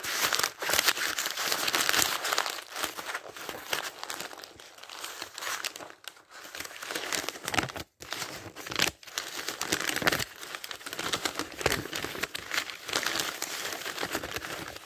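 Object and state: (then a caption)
Paper dictionary pages being turned. Thin printed pages of a thick paperback dictionary are lifted and flipped by hand and fingertips, producing a steady, bright papery crinkling and rustling with almost no low end. The flutter runs nearly continuously, broken only by brief pauses around the middle, as page after page is turned.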